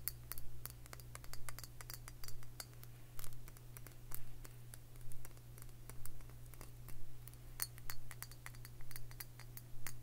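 Long fingernails tap and scratch a round glass liquor bottle with a metal cap, filled with dark liquid. Sharp, bright clicks and short scratching bursts repeat in a steady rhythm over a constant low hum.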